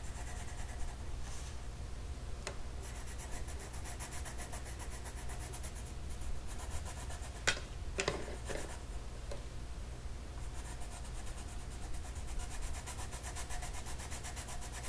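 An orange colored pencil rubs small areas of a flat paper mandala coloring sheet on a table with short strokes. The result is a quiet, continuous soft scratching over a steady low hum, broken by a few brief sharper ticks near the middle.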